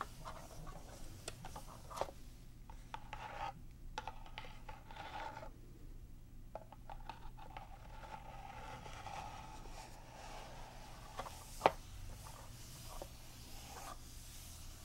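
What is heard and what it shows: Long nails scratch and tap on a paper rulebook lying inside an open cardboard board game box while hands grip the box's sides. Quiet, dry, raspy scratching carries faint low rumble underneath, broken by short sharp taps, the loudest near the twelve-second mark.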